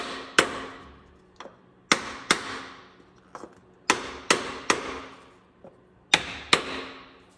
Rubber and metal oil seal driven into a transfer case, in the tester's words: the sound changes there when it's fully seated